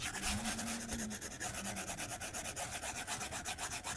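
A white plastic stylus tip scratches across a solid, flat glass tablet screen in continuous drawing strokes. Each stroke makes a rapid, rhythmic, bright scratchy rub with hissy high end. A faint low hum near 200 Hz sits underneath in the first couple of seconds.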